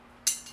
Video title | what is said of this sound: Anvil 062: French RSC 17 | you drop it on the ground it sounds a little tinny